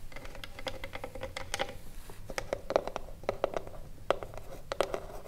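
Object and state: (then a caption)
Wooden box tapped with fingernails. Long blue nails tap and scratch the top edge and front of a small, hollow wooden cigarillo box resting on a table. Quick, dry clicks with a hollow midrange tone mix with soft scratching. Many taps fall in uneven clusters, with a few sharper, louder hits standing out.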